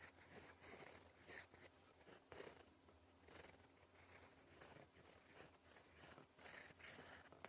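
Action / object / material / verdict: scrape / fountain pen nib on a paper sheet / paper / none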